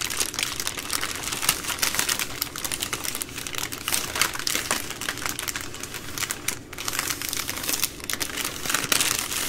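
Long nails scratch and tap across the plastic film wrapping a full three-pack of baby wipes. The result is a steady, bright crinkling texture scattered with quick, sharp taps, with little low end.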